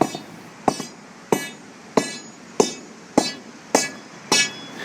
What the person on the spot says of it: this is a delaminated area being sounded with the sounding rod